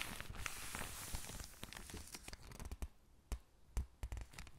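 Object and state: Paper catalog pages being crinkled and turned.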